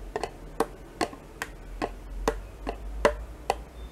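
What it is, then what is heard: Plastic yogurt cup scraped with a spoon. A metal spoon scrapes inside a small, thin plastic yogurt cup held in the hand, mostly empty with residue left, using quick tapping strokes. Ten short, dry clicks come at a steady, clock-like pace, with a hollow tone around 590 Hz and bright edges. Each one dies away almost at once over a faint background hiss.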